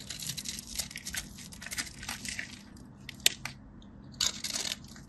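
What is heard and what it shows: A solid, dry white bar of soap held in the fingers is cut through its scored cubes with a metal craft blade, which also scrapes the surface. Bright, crisp crunching and scratching come in dense bursts, with a sharp snap near the middle and another flurry of crunches toward the end.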